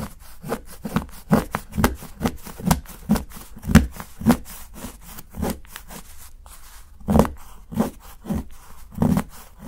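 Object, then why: Dark chocolate bar cut with a steel knife. A solid, segmented dark chocolate bar, held by the fingertips, has its edge chopped and shaved with a steel knife. A quick series of short, crisp chops with dull, low knocks cuts through a soft scraping rustle, each stroke dying away almost at once.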